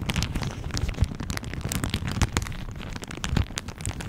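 A thin floral plastic shower cap with an elastic rim is held over a microphone and crumpled and squeezed between the fingertips and nails of both hands. The result is a dense, continuous crinkling and crackling with sharp bright snaps over a heavy low, rumbling handling noise, with a few louder pops standing out.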